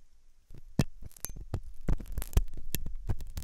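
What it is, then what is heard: Silicone ear model being scraped. A metal dental pick scrapes inside the hollow ear canal of a white, soft silicone ear on a binaural microphone. After a brief near-silence, it makes a series of short, close-up scratching bursts with deep, muffled rumbling thuds and faint bright crackle.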